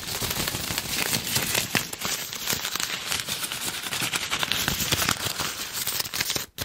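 A red plastic ribbon gift bow is squeezed and crinkled in both hands with the fingertips, producing a dense, continuous stream of bright, crisp crackles and rustles. The crinkling stays fairly steady, with small bursts, until it cuts out briefly near the end.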